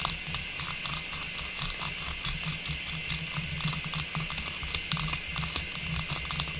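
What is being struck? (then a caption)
Hollow metallized plastic star tree topper. A small, hollow, faceted silver metallized plastic star tree topper with a tubular stem is held in one hand and tapped and scratched with long pink natural nails. The result is a rapid, irregular patter of bright, dry plastic clicks and scratchy ticks that die away almost instantly. A steady low hum runs underneath throughout.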